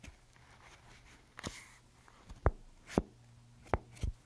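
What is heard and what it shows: A handheld paper paint swatch fan deck, a stack of paper strips bound at one end, is flipped and riffled with fingertips and long nails. Soft, irregular papery flicks and sharp ticks break through a quiet, low background hum, each dying away almost at once.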